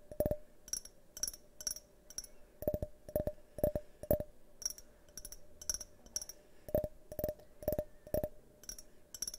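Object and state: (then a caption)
Glass tumbler tapped with fingernails. A hand-sized, hollow, multicolored tinted glass tumbler is held on its side in front of the microphone and tapped with fingernails. The taps come in quick, uneven bursts, each a sharp click with a brief glassy ping around 590 Hz and a bright, airy top that dies away almost at once.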